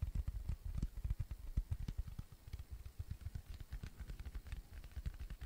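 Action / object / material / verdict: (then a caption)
tap / cork coaster / cork / none. A round, flat, tan cork coaster, thin and solid, is tapped and scratched with fingertips and nails. The result is a rapid, uneven series of soft, dull, low thumps that die away almost instantly, with faint brief scratchy ticks above them.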